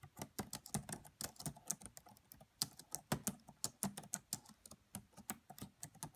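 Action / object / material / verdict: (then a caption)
tap / plastic laptop keyboard keys / plastic / none. Fingertips with medium nails type on the black plastic keys of a red laptop keyboard. About 26 quiet, short, crisp clicks sound in a steady, uneven rhythm, each with a bright tap and a soft low thump. They die away almost instantly.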